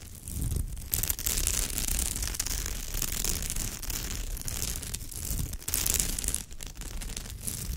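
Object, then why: Woven straw bag. Long nails rake and scratch over the woven fibre surface of a straw or raffia purse. The result is a steady, dense scratching with crisp, bright, rustly detail over a low rumble, dipping briefly in a few spots before the raking continues.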